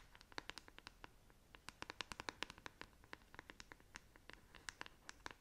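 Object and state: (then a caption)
Plastic paddle hairbrush scratched with nails. Long acrylic nails scratch the bristles and back of a black, hand-sized plastic paddle hairbrush held close to the face. A quiet, rapid series of about thirty short, dry, bright clicking scratches is heard, each one dying away instantly with no ring.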